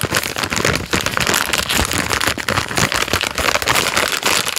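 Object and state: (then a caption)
Plastic-wrapped biscuit packet being crinkled. A thumb rubs and squeezes a full plastic-film packet of Jammie Dodgers Unicorn biscuits, crinkling the wrapper. The result is a dense, steady crackle that is bright and crisp, with little low end and many quick overlapping snaps throughout.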